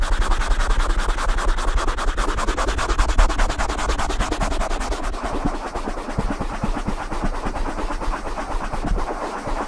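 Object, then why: Open-cell foam microphone cover. Fingertips and nails rub and scratch a soft, hollow black open-cell foam windscreen on a silver USB microphone. The result is a close, dense run of rapid scratchy strokes with a heavy low rumble and steady friction noise that eases slightly toward the end.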